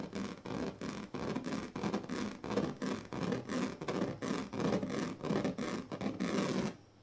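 The teeth of a pink plastic comb are dragged along the strips of a large, flat woven plastic sleeping mat in a run of repeated strokes. Each stroke gives a raspy, bright scratching sound with a faint low buzz beneath it. The strokes come at an uneven pace for about six and a half seconds before the sound drops to near silence.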